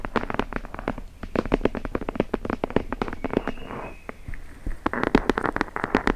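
Long nails scratch the paper page edges of a thick red hardcover book held edge-on above the microphone. The result is a rapid, uneven run of short, dry clicks and scratches with almost no ring. Around the middle, a brief, smoother rasping scrape and a short lull break up the run before the quick scratching resumes.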